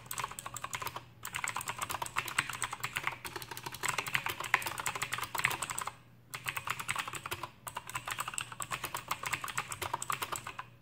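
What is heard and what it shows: Both hands type with their fingertips on an Aukey KM-G6 full-size backlit mechanical keyboard with plastic keycaps and clicky Outemu blue switches. Rapid, bright, sharp clicks run in fast bursts, with short pauses near 1 second, 6 seconds and 7.5 seconds. A faint low hum sits steadily underneath.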